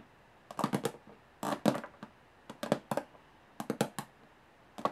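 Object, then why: Small aluminum case lid. Long fingernails tap quickly on the textured metal lid of a small, hollow aluminum briefcase. The result is bursts of sharp, hollow clicks with a midrange knock around 590 Hz and almost no ring, arriving in uneven clusters separated by brief pauses.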